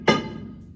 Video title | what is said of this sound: Old Hundred Gold Mine | Not good if we hear that or this. Big hollow spot.